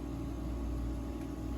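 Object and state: Nothing is struck.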